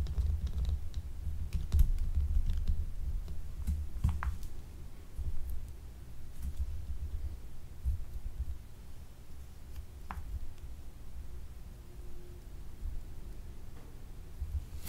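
A small, solid, translucent blue faceted gemstone soap bar, unwrapped and held in the hand, is tapped and scratched with long nails. Soft, irregular clicks and scratches come through over a muffled, low-heavy rumble at a fairly quiet level, with brief bright ticks here and there.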